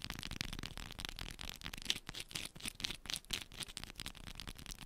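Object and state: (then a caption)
Bar of soap. Long pointed nails scratch and tap quickly over the surface of a small solid yellow bar of soap held in both hands. The result is a dense run of dry, bright scraping and clicking.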